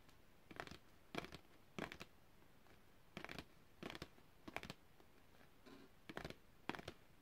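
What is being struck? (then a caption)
Printed cardboard packaging card. A long, thin printed cardboard packaging card is held upright and tapped and flicked with long red-painted fingernails. Short, dry, papery clicks and flutters come in quick bursts with quiet pauses between them, each snap bright and dying away almost at once.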